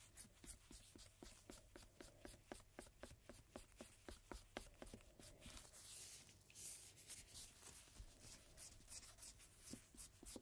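A single thin paper playing card lies face-down on a dark table, its dark printed back up, while one gloved hand steadies it and the other scrubs it with a cotton swab. The result is a rapid run of dry, scratchy rubbing strokes, about 24 separate ones at nearly four per second, with bright hiss and a faint low hum beneath. Midway the strokes blur into a longer continuous scrub before the quick pulses return.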